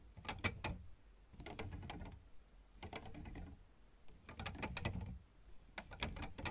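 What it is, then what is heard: Plastic keyboard keys tapped with nails. Both hands tap and click the solid black and white plastic keys of a piano or electronic keyboard with long red almond-shaped nails and fingertips. Quick, dry clicks with a low knock underneath arrive in short bursts, separated by brief pauses. Each click has a bright edge and dies away almost at once.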